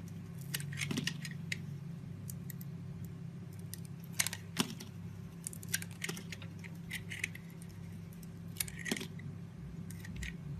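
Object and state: Bar soap being carved.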